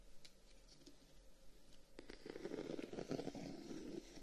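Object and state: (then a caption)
Closed wooden folding fan, scratched and tapped. A closed folding fan with a dark wooden guard is held in the hand while the thumb and short-nailed fingertips scratch and tap the wooden guard. Quiet, dry scratching and light taps start sparse, then grow denser and a little louder from about two seconds in, with a soft mid-low woody tone and little ring.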